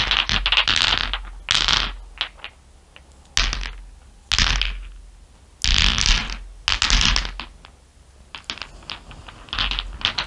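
Many small solid glass marbles resting on fur are tapped with fingernails and stirred by fingers. Bright clicks and clattering ticks come in short bursts, with busier rolling clusters between quieter gaps.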